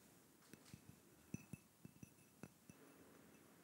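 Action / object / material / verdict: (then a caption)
tap / small glass cup or votive holder / glass / none. Fingertips and nails tap a small, hollow, clear glass cup or votive holder with a little pink content at the bottom, held close to the microphone alongside a thin stick. A quiet, irregular series of short taps is heard, each a soft low knock with a faint bright clink that dies away almost at once.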